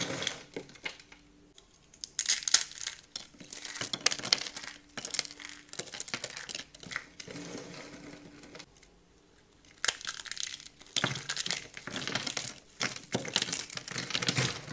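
Fingertips with manicured nails press, crush and crumble a pile of thin, brittle shaved curls of dry green and white bar soap, with loose soap flakes beside it. Dense, bright crinkling and crunching crackles come in bursts separated by brief quieter pauses, with a faint steady low hum underneath.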